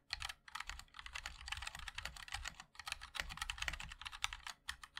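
A 60% MOD-L mechanical keyboard with a black aluminium case, white and black ABS plastic keycaps and linear switches is typed on continuously with the fingertips of both hands. Rapid, overlapping taps give bright, crisp clacks over a soft low thud, each dying away almost instantly, with a few brief pauses between bursts.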